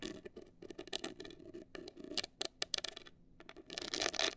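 Long acrylic nails scratch a hollow, black printed rigid cardboard cosmetic box held upright, making quick, dry, bright scratching bursts with no ring. The scratches come in rapid patches, pause briefly near the three-second mark, then return in a denser, louder flurry at the end.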